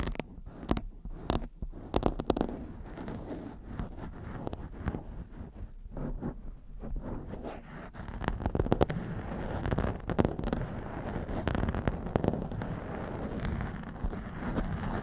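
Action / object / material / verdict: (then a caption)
scrape / foam microphone windscreen / foam / none. Long nail tips on both hands scratch the top of a blue foam windscreen on a black microphone. The result is a steady, close, muffled crackling and rustling that is heavy in the lows with little bright content. Sharper scratchy bursts come through in the first few seconds, and the scratching grows thicker and louder in the second half.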